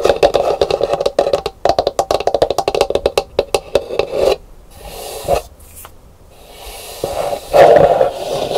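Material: Gourd shell.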